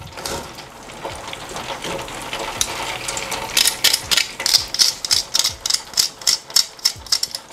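Double-fried chicken pieces give a crunch test, with dry, bright crackling and rattling. The sound starts as a softer, busy crackle and turns into a quick run of sharp, separate crunches in the last half. The crisp sound shows the chicken is crunchy.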